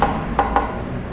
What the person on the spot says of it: karena sangat ringan, bunyinya seperti ini saat diketuk